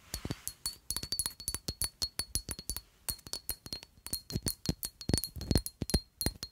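Long acrylic nails tap rapidly and unevenly on a palm-sized rectangular black glass perfume bottle with a square cap. Dozens of short, sharp clinks sound, each with a dull low knock under a bright glassy tick and a faint high ringing tone that carries between taps.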